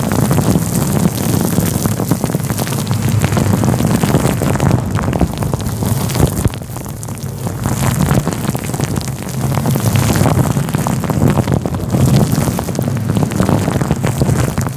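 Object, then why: Synthetic fur microphone windscreen. Fingers rub and scratch a fluffy grey-white synthetic fur windscreen covering a microphone, producing a dense, continuous scratchy rustle with a heavy low rumble centered around 150 Hz. The loud friction noise eases briefly between about 6.5 and 9 seconds, then builds back to full intensity.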